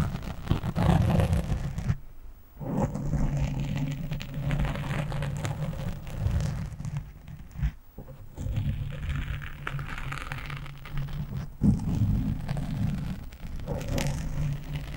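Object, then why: Foam microphone windscreen. Fingertips and nails scratch rapidly on a black foam windscreen on a microphone, making a dense, rain-like rustling texture. The sound is mostly low, muffled rumble in continuous bursts, with brief quiet gaps around the 2- and 8-second marks.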